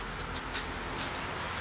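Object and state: Nothing is struck.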